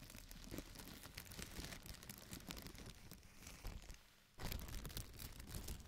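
A large, thin, empty white plastic bag is lifted and crumpled, then rubbed flat with the palms and fingertips of both hands. Dense, continuous crinkling and crackling fills most of the clip, fades to a brief near-quiet lull just after four seconds, then resumes abruptly loud.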